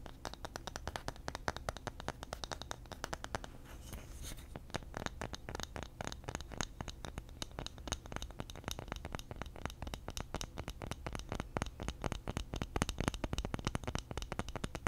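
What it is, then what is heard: Bamboo lid scratched. A round bamboo lid is held up by the fingers while fingernails scratch its underside. The result is a fast, steady stream of dry, crackly scratches with a low, hollow body and very short decay.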